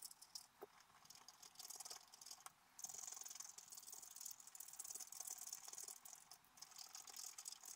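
A wooden stylus scratches leaf areas into a black-coated scratch-art paper card lying flat. The result is a quiet, dry, bright scratching rasp, almost all in the high range, that runs in quick rattling strokes with a brief pause near the middle.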